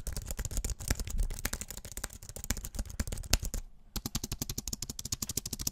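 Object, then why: Aluminium keyboard with plastic keys. Fingertips and nails tap rapidly on the plastic keys of a slim, white-keyed, Apple-style wireless keyboard with an aluminium body, held upright close to the mic. A dense stream of sharp, dry clicks rides over a deep, boomy thump. The tapping pauses briefly just before the four-second mark, then resumes in a quicker, more even rhythm.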